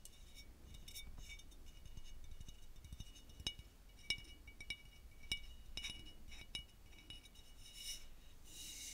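A 500 ml dark-labelled glass bottle of rapeseed oil, partly full, is held in both hands and rubbed and tapped with fingertips and short nails. Soft, low rubbing and scratching continue throughout, broken by sharp, bright glassy clinks that ring briefly around 2.3 kHz with a little high shimmer.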